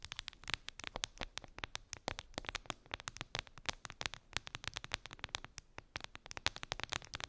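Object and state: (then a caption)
Plastic phone case. Long acrylic nails tap rapidly on a clear plastic phone case with colorful gummy bears embedded in it, lying on fur. The quick, sharp, clicky taps are bright and dry, each dying away almost instantly, in a steady quiet patter over a faint low hiss.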